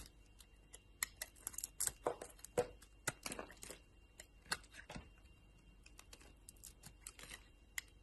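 A solid purple and yellow soap bar, held in a hand with long lilac nails, is cut and shaved with a metal utility knife blade. Quiet, irregular scraping strokes and crisp, bright slicing sounds come in short bursts, with a few sharper snaps from the blade. Between cuts there are softer rustling scrapes.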